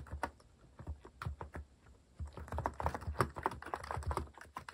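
Fingertips type continuously on a compact white-case mechanical keyboard with cream and orange cat-themed plastic keycaps, resting on a wooden desk. The rapid key taps are short, low, dull clacks that die away almost instantly. A sparse run of taps gives way to a brief lull, then a faster, denser flurry.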